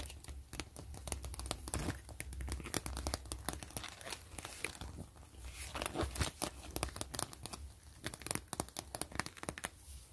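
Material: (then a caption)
Plastic. A flat, thin gray zipper pouch of translucent plastic with a grid-mesh pattern is scratched and tapped by long nails and fingertips. Dense, crinkly scratching runs throughout, broken by sharp, bright clicks and taps. A low hum sits underneath.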